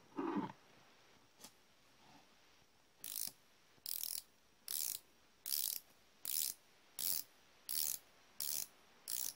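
A hand-held, solid chrome steel combination wrench with a flexible ratcheting ring head is worked by fingers and thumb pivoting the hinged head. After a lower clatter and a couple of faint ticks, nine bright, crisp bursts of ratchet-pawl clicking and metal joint clatter repeat at a steady pace, each dying away quickly.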